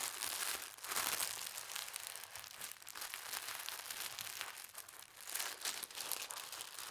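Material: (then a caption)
Paper. A thin teal tissue paper sheet is folded over by hand and its crease is pressed flat with the fingertips. A dense, bright crinkling and rustling runs throughout, made of many small crackles that swell and fade with the handling, with almost no low end.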